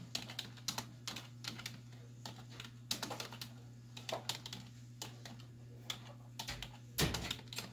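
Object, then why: Plastic computer keyboard. Both hands with long white nails type with fingertips and nail tips on a black plastic desktop keyboard with hollow keys. Irregular bursts of bright, hollow clicks and taps sit over a steady low hum. A louder cluster of keystrokes comes near the end.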